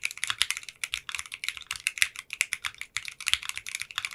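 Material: Polycarbonate plastic.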